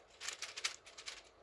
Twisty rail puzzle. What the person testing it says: If I shake it, it's doesn't rattle much.